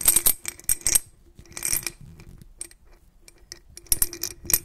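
A white-gloved hand tilts and shakes a medium clear glass jar partly filled with blue glass beads. The beads rattle and clink against the glass in quick, bright bursts with quieter shuffling between them, and each clink dies away almost at once.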